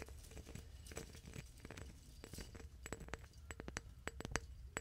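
A hand taps a clear, mid-sized hollow glass flower vase holding dried plant stems, using fingertips and nails. Quick, close clicks and light clinks come in an uneven run, each dying almost instantly over a low, steady background rumble.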